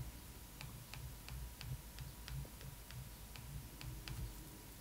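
A glossy paper magazine cover is tapped and traced with a metal pen tip over the face on the cover, giving a steady run of short, bright ticks. The ticks sit over a constant low rumble and a faint steady tone.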